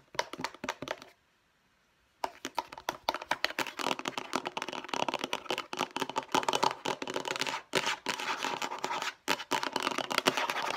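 Long nails rapidly tap and scratch the flat face of a hollow, light blue hard plastic storage case, making dense, dry clicks and scrapes with a bright, hollow edge. The tapping stops for about a second near the start, then resumes and continues quickly to the end.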